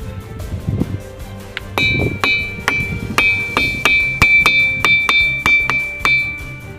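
Igneous boulders at Maremma Gudem, Nalgonda, are struck in turn like a lithophone, giving a series of sharp taps that each ring out with a clear, bell-like tone around 2.3 kHz. The rings decay quickly over a low background rumble. These are ringing rocks, whose musical ring is attributed to their high iron and aluminium content.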